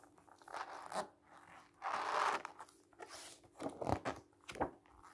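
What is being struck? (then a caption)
Book with glossy coated paper pages. Fingers rub the surface of a thick book's glossy coated paper pages and flip the pages while the book is held open on a table. Soft papery rustles and one longer swishing sweep are followed by sharper crisp snaps and crackles as the pages turn over, all quiet and bright.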